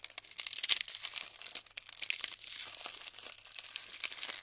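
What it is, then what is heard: Glued styrofoam bead clusters being crumbled. Fingertips with pink nails squeeze and crumble apart clusters of small colored polystyrene foam balls stuck together with dried glue in a large tray. The light, hollow-cellular foam gives off a dense stream of bright, crisp crinkles, crackles and sharp snaps with almost no low end.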